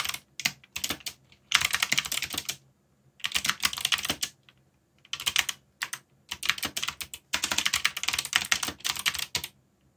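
Fingertips type quickly on a backlit mechanical keyboard with plastic keycaps. The result is bursts of bright, crisp clicking and clattering, separated by short silent pauses. Each keystroke dies away almost instantly, with almost no low end.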